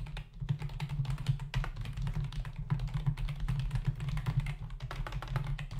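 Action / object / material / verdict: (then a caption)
tap / plastic membrane computer keyboard / plastic / none. Fingertips of both hands type rapidly on the hollow keys of a full-size black plastic membrane keyboard resting on a dark desk. A dense, continuous stream of short, dry clicks and taps sits over a steady low hum. The sound is soft and quick, with each tap dying away almost instantly.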